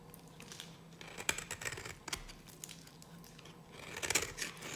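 A solid, very dry yellow bar of soap held in the hand is carved with a metal blade, and flakes break off. Quiet, bright, crisp scraping and crunching is heard with short, dry cracks, the sharpest just past one second, around two seconds, and again near the end. Each snap dies away almost instantly.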